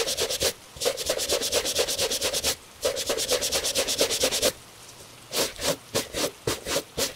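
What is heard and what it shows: A gloved hand scrubs a hollow tan leather cap-toe Italian dress shoe with a bristle shoe brush, making quick back-and-forth rubbing strokes. Long runs of fast, bright, hissy bristle scratches, with a faint midrange rasp, give way to slower, separate strokes near the end, with short quiet gaps between the bursts.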